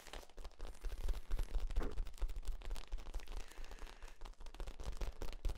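Hands squeeze and compress the ribs of a hollow, ribbed, flexible yellow corrugated plastic tube held near the shoulder. This produces a dense, irregular stream of crinkling clicks and pops over a heavy low rumble, with no ringing after each crackle.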